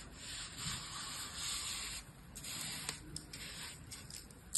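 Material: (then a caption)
Sand. A hand with long pink nails uses an orange plastic shovel to scoop, pat and scrape the surface of fine, dry blue-purple sand in a clear plastic tub. It makes a steady, bright, gritty scraping hiss that swells and dips, with brief sharp ticks toward the end.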